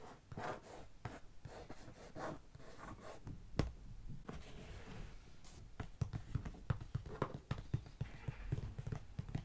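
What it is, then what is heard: Hollow cardboard box. A closed, hollow brown corrugated cardboard shipping box resting on carpet is tapped with a fingertip and long nails, then scratched along its top and side. Dull, low, hollow taps with very short decay mix with soft scraping, and the taps grow sharper and more frequent toward the end.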